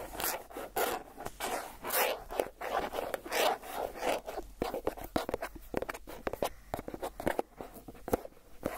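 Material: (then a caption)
Plastic. Fingernails scratch quickly across the plastic lid of a Philadelphia cream cheese tub, held sideways with its lid on. Rapid bursts of raspy, zipper-like scratching with bright edges turn into sharper, faster dry ticks and scrapes later on.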